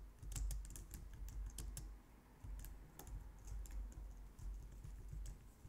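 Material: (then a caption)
Plastic. A low-profile white and light-grey plastic wireless keyboard resting on a glitter mat on a wooden desk is typed on with long painted nails and fingertips. The result is a steady run of quiet, crisp clicking taps with bright clicky edges over a low, soft thump, and the keys pause briefly before resuming.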